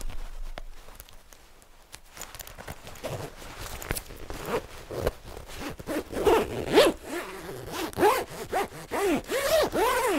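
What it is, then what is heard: Nylon parka with zipper. Fingertips and nails scratch and rub a black padded nylon parka worn on the body, then handle its purple-trimmed zipper near a printed strap. Soft, sparse scratching and rustling build into louder, quick, irregular swishes, with short rising and falling zipping whines toward the end.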